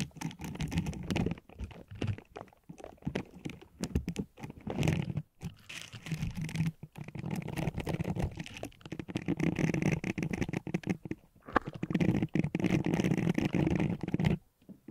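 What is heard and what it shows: An orange silicone bristle scrubber pad draped over a microphone is rubbed, scratched and squeezed by the fingertips of both hands, working its flexible bristles. The result is a dense, close, crackling scratch of rapid short bursts, heavy in the low end. Brief quiet gaps break up the bursts throughout.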